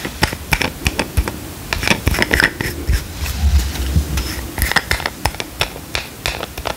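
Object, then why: Small plastic squeeze tube. Fingernails tap quickly on a small, hollow, squeezable plastic cream tube with a cap, held upright in one hand. The result is a rapid, uneven series of short, dry, bright clicks that die away almost instantly, over a steady low hum.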